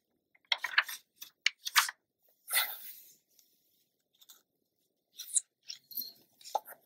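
Long nails tap and rub along the page edge of an open glossy paper magazine, giving short, crisp, bright clicks and scratches with no low end. A longer papery swish follows as a hand turns the page, then more light taps and scrapes sound in the quiet between.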